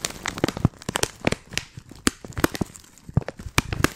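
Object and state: Plastic tea pouch.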